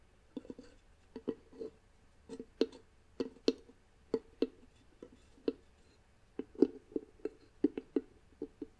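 Long nails tap and scratch across the flat wooden lid of a box with a small wooden knob. The result is a quiet, irregular series of short, dry knocks with a hollow low-mid body around 290 Hz. Bright nail clicks sit on top, and each knock dies away almost instantly.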